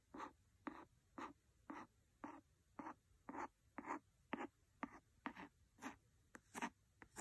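A wooden pencil scratches back and forth across the cover of a large, solid, red cloth-covered hardcover book. Dry, papery scratching strokes repeat at about two per second, each a short, soft rasp. The strokes fall at a slightly uneven pace and are separated by near silence.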